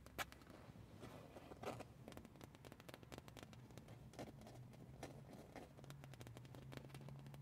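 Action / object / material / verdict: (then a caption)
scrape / printed cotton shirt / fabric / none. Long painted nails scratch and tap across a soft, flexible black fabric band shirt with a Slipknot print, lying on a car seat. The result is a quiet, dense run of short, dry scratches and clicks with brief bright edges, over a steady low hum.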